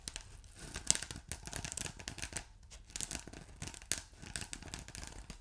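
A ridged blue polyethylene foam block with a glittery texture, soft yet solid, is scratched by fingertips and short nails. The result is a dense run of quiet, bright scratching and crinkling bursts, with a couple of sharper clicks standing out near the start and toward the end.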